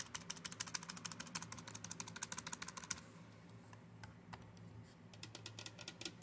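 Long-nailed fingers type and tap on the keys of a black plastic Dell computer keyboard, including the number pad. A fast run of bright, sharp plastic clicks lasts about three seconds, then gives way to quieter, scattered taps. A steady low hum sits underneath throughout.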